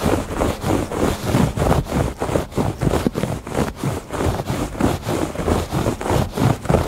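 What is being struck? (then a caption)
Woven fabric rug. Fingertips and nails scratch and scrape across the ribbed surface of a woven fabric rug. Quick, rhythmic rasping strokes repeat steadily, each a short, dry, low-toned scratch with little high sizzle.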